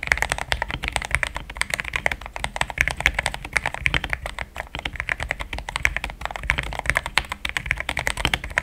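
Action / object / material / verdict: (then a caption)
tap / mechanical keyboard, plastic keycaps / plastic / none. Fast fingertip typing on a compact pink-cased mechanical keyboard with solid, thick cream XDA plastic keycaps. It produces a dense, continuous stream of short, crisp clacks with a bright tone centered around 2 kHz and almost no ring after each keystroke.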